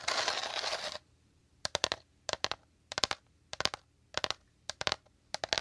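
Short fingernails scratch and then tap a hollow, dome-shaped woven rattan bowl. About a second of dense, bright scratching is followed by quick bursts of crisp, clicky taps in clusters of three or four. The taps are high-pitched and dry, with almost no ring.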